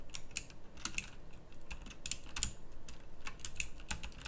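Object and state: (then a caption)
Plastic mechanical keyboard being typed on. Someone types with both hands on a pink backlit plastic mechanical typewriter-style keyboard with round plastic keycaps. The clip is filled with quick, bright, clicky keystrokes in an irregular rhythm, each one dying away almost instantly.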